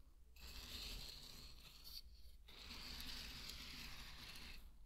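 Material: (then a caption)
Barley grain. Dry pearl barley grains are scooped with a wooden spatula, stirred, and poured back onto a bed of barley. Two long, bright, hissing rattles of trickling grain are heard, split by a short pause, over a steady low hum.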